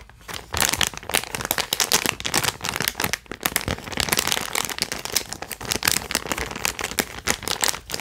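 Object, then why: Holographic foil-plastic zip pouch. A small, flat holographic foil-plastic zip-lock pouch with an earbud case inside is held in both hands and crinkled and scratched with the fingertips. It makes dense, bright, crackling crinkles with little low end, in quick bursts that pause only briefly near the start and around the three-second mark.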